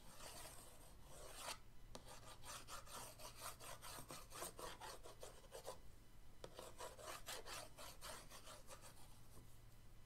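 The end of an orange paintbrush is dragged across the lid of a flat printed cardboard paint-set box, making quiet, rapid scratchy rubbing strokes. The strokes come in bursts with brief pauses, over a steady low hum.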